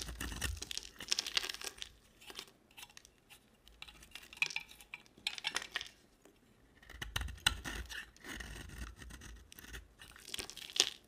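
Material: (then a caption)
Soap. A small round solid bar of soap with a red outer layer and white core has its red layer shaved off with a utility knife blade. Quiet, bright scraping and crisp peeling strokes come in bursts, with soft low thumps now and then in between.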